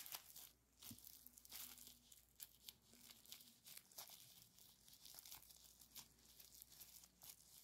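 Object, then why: Plastic bubble wrap. Gloved fingertips squeeze, crinkle and pop a small strip of clear plastic bubble wrap with green filling inside some of the bubbles, resting on a white towel. The sound is quiet, bright, dense crinkling and crackling, broken by sharp, short pops that stop almost at once.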